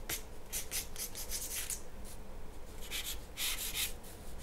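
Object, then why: Graphite pencil on paper sheet. A graphite pencil is drawn across a large, flat white paper sheet resting on a wooden table in long strokes. The result is a series of bright, high scratching bursts over a steady low hum.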